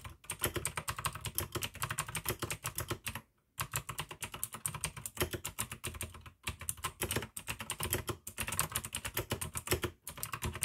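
Fast fingertip typing with both hands on a full-size pink AUKEY mechanical keyboard with plastic keycaps and clicky blue switches. Dense, rapid, bright clicks ride over a low thock, with brief pauses around 3.5, 6.4 and 10 seconds before the steady rattle resumes.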